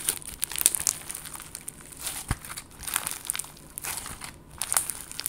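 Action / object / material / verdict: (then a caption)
scrape / clear slime with confetti sequins / slime / none. A palm-sized clear slime packed with colorful confetti sequins, soft and solid, is squeezed and kneaded with fingertips and long gold nails. It gives quick, bright crinkling and crackling bursts with short pops, over a quiet background between squeezes.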